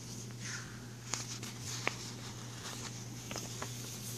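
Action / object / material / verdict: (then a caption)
tap / thin plastic page protector sheet / plastic / none. Fingertips and nails lift a thin frosted plastic page protector sheet in a ring binder, then rub and tap across its plastic surface. Soft, bright crinkling and rustling are broken by a few sharp, quick taps over a steady low hum.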